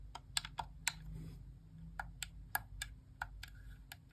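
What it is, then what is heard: Plastic game controller. Long nails tap and click the face buttons of a white plastic Xbox core wireless controller held in the hand, its hollow shell giving twelve short, bright, dry clicks spread across the clip. The clicks come in a loose, uneven rhythm over a faint low hum.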